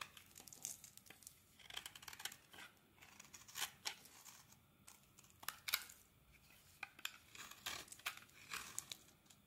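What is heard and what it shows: A translucent white solid bar of soap is scraped with a blade into fibrous shavings. The result is a quiet, bright, crackly scraping made of many short, crisp bursts, almost no low end, and very little ring after each stroke.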